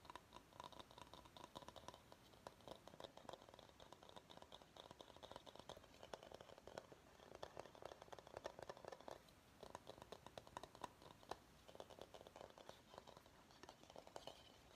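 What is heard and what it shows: Fingertips and nails tap and scratch the outer surface of a large, hollow, empty bamboo salad bowl held upside down. Quiet, rapid, dry clicks and scratchy rustles continue throughout, with a hollow mid-pitched tone and a bright edge that dies away almost at once.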